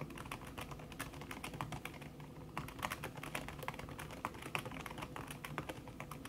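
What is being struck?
Aluminium keyboard with silicone-covered plastic keys.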